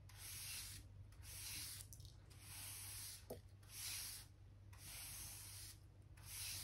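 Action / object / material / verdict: scrape / pine wooden floorboards / pine wood / none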